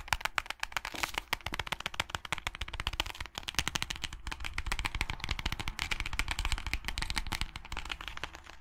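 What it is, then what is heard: Hardcover book, tapped and flicked. Fingernails tap and flick across the pink page edges and cover of a small closed hardcover book. A rapid, dense stream of short, dry clicks and flutters runs throughout, with bright crackling texture over soft low thumps from the cover. The taps die away almost instantly.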